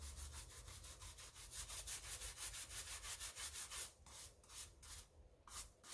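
A wooden-handled brush scrubs the wet white rubber/foam sole of a pink tennis shoe held sole-up in a rubber-gloved hand. Quick, bright, bristly scrubbing strokes repeat at about three per second in a steady rhythm, then become more broken up, with short pauses in the last two seconds.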